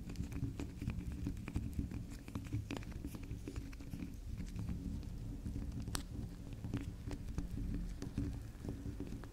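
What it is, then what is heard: Soft bar soap scratched with nails. Long nails scratch and dig into the top of a round, solid pink swirl bar of soft soap, with soap shavings on the table. Many quick, soft scratching and tapping sounds patter steadily over a low, muffled rumble, with occasional brighter clicks.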